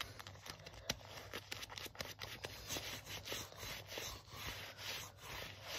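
Fingers rub and scratch the sleeve of a worn black leather jacket, with a brief rub on the front panel. The sound is a quiet, bright, dry scratching and scraping made of many short, crisp strokes with no ring. A faint low hum sits underneath.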